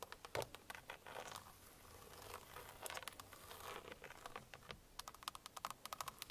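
Long painted fingernails on both hands tap and scratch the hollow plastic airbag cover at the center of a car steering wheel. Sharp, dry clicking taps open the clip, then give way to a steady, bright scratching rustle across the middle. A fast run of crisp taps follows, each dying away almost instantly.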